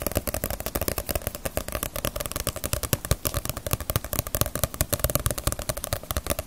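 A paperback Naruto manga book with a glossy paper cover is held in both hands and tapped and scratched on the cover with fingertips and long nails. About 45 quick, short taps rattle out in a steady, dense stream, each a dull low thump with a bright papery click and scratchy edge.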